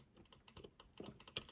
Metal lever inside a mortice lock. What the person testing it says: you can hear that lever is now tapping